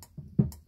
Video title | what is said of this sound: Replacing a P Trap. | if you tap on it and it sounds hollow